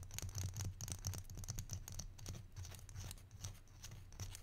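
A small hollow wooden barrel-shaped salt shaker with copper-coloured bands is held in one hand and tapped and scratched with the fingertips and short nails of the other hand. Quick, irregular soft taps with a low hollow knock blend with bright, dry scratching. The quiet, close patter continues steadily throughout.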